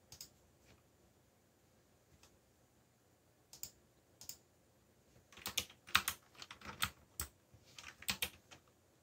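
Fingertips tap keys on a backlit mechanical computer keyboard with black plastic keycaps. A few scattered keystrokes come first, then a quicker burst of typing in the second half. Each press is a short, bright click that dies away almost at once.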